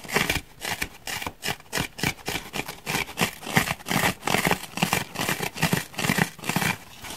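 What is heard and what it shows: Fingernails scratch and pick at a solid grey foam block with a heavily gouged surface. They make an irregular run of short, dry, rasping scrapes with bright, airy texture and a soft low thud beneath each stroke. The strokes come in uneven bursts with brief quiet gaps between them.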